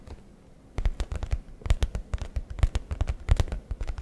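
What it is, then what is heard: Leather messenger bag. Fingertips rapidly tap and scratch the flap of a brown leather satchel messenger bag held close to the microphone. After a near-silent start, a quick run of dull, deep, close thumps follows, each short with no ring, mixed with light scratchy brushing over the leather.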